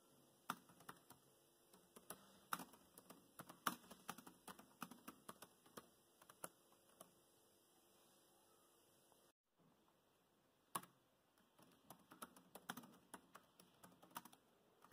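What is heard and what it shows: Fingertips of both hands tap the black plastic chiclet keys of a grey laptop in continuous typing, producing quick, light clicks and taps of uneven rhythm over a faint steady background hum. The typing slows and pauses briefly near the middle, goes almost silent for a moment, then resumes with a sharp key press and carries on to the end.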